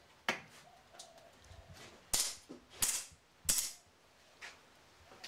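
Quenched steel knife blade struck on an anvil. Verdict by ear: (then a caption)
Sound. A quenched steel knife blade is struck very hard against an anvil to test its hardening by how it rings, since steel quenched too hard would break. Four loud, bright metallic strikes with short rings stand out among softer taps. The blade survives unbroken and is judged good.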